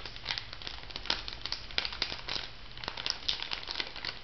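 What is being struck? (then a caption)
Plastic foil sachet. A small, flat, filled pink printed plastic/foil sachet is crinkled and tapped with long nails. The result is a steady, bright crinkling with many sharp, quick clicks and crackles scattered through it. Each click dies away almost instantly over a faint low hum.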